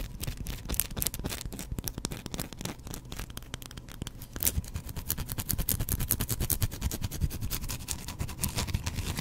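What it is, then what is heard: Bar of soap. Fingernails scratch a hand-sized, solid white bar of soap close to the microphone. Dense, irregular scratching with sharp, dry clicks and a bright crackle rides over a soft low rumble. The scratching becomes louder and busier about halfway through.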